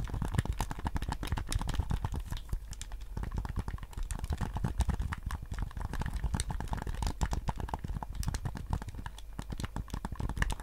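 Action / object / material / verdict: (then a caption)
tap / hard plastic game controller / plastic / none. A white PS5 DualSense controller, a handheld hollow hard plastic shell held in both hands, is tapped on its shell by fingertips while its buttons are clicked. The result is a steady, rapid stream of short, dry clicks and taps, each dying away almost instantly, with a dull low body under crisp bright edges for about eleven seconds.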